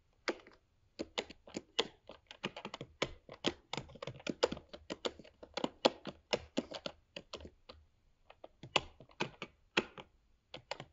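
Fingertips of both hands rapidly type on a 13-inch MacBook Pro keyboard, tapping its black plastic low-profile keycaps set in the grey aluminium body of the hollow laptop. About 39 short, dry clacks come in quick irregular bursts with brief pauses. Each click is mid-pitched with a bright edge and dies away almost instantly.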